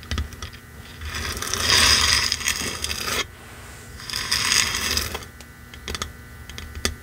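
Long manicured nails and the fingertips of both hands tap and drum on a small, hollow-backed, red-painted wooden box sign reading "It's beginning to look a lot like Christmas," lying flat on black fur. Two bursts of rapid, dense, bright clicking and scratchy nail drumming swell and fade. Sparse sharp single taps come before, between, and after them.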